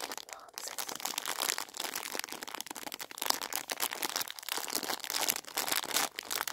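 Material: Plastic.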